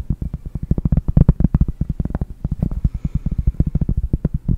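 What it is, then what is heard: Cork board. A round, flat cork board held right at the microphone is tapped and scratched with long painted nails in a quick, steady run of 33 soft, dull taps. Each tap is short and low-pitched, with almost no ring and no bright top, and the soft scratching sits faintly between the taps.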